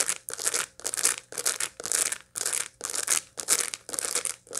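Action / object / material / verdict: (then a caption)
scrape / dried sunflower seed head / dried seeds / none. A dried sunflower seed head, held in both hands with its seeds still packed in, is scratched with long light-blue nails across the seeds. About nine steady scratching strokes follow one another, each a dry, crackly, bright rasp with short gaps between. The sound is crisp and papery, with almost no low end.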